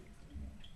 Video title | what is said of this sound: Smith & Smith wine tasting at Kuble CONF 2020: Experience natural wines | shake it a little bit and then you can hear it